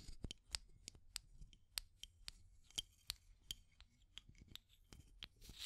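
Long nails tap and scratch on a small clear hollow plastic tube container with an aluminum screw lid, striking both the metal lid and the tube body. About sixteen quick, bright, clicky taps stand apart, each dying almost instantly, with soft scratchy rubbing between them and a faint low rumble underneath. The whole sequence is quiet.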